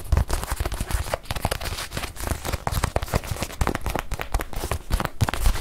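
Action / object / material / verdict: tap / small leather watch pillow / leather / none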